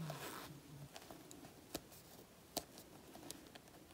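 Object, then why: Faux leather jacket panel. Long natural nails scratch and pick at a black faux leather jacket panel with peeled flakes. The result is a quiet, continuous dry scraping and rustling texture, broken by several sharp, bright clicks and ticks as the nails catch on the surface.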